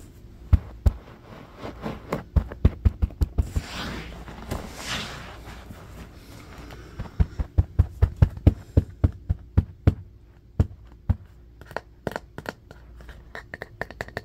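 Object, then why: Bamboo paddle hairbrush. Fingertips and short nails tap and scratch the solid wooden back of a striped bamboo paddle hairbrush with dark bristles, lying on carpet. Many quick, dull, low thuds come in irregular bursts and die away almost instantly, with a softer swell of brushy scratching in the middle under a faint steady hum.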